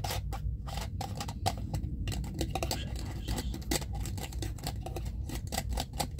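Fingertips and nails of one hand scratch and tap the ridged screw lid of a small clear plastic jar filled with cotton pads, while the other hand holds the jar. The result is a quick, irregular stream of crisp, bright clicks and scratchy rasps over a steady low rumble.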